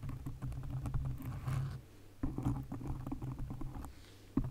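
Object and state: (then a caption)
Foam microphone windscreen. Long acrylic nails quickly tap and scratch a black foam windscreen on a condenser microphone, making a dense run of soft, muffled, bass-heavy thumps and rustling scrapes. The tapping pauses briefly just before the two-second mark, then resumes, and it ends with one sharper, louder tap.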